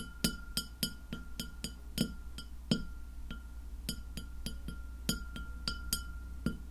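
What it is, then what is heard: Glass plate tapped with fingernails. Long fingernails on both hands tap a white glass plate lying flat near the microphone. The result is a quick, uneven series of sharp, bright clicks, each with a brief glassy ring that fades almost at once. Under the taps are a low steady hum and a faint constant tone.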